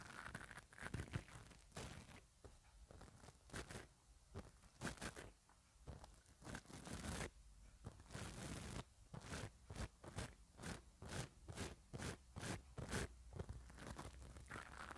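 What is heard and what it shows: A black mascara spoolie brush with an orange handle, held by hands with long dark painted nails, is rubbed and scratched across the round metal mesh grille of a small handheld microphone with a hollow head. Its bristles add to the sound: short, bright, scratchy rasps with a heavy low rumble. The rasps come in irregular bursts at first, then fall into a steadier back-and-forth rhythm in the second half.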